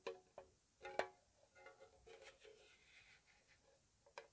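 Long nails tap the lid and side of a small, hollow, square white-painted metal tea tin, making sharp, hollow metallic ticks with a faint pitched ring around 600 Hz that dies away almost at once. Quieter, lighter tapping fills the middle between louder taps at the start and end, all soft and close.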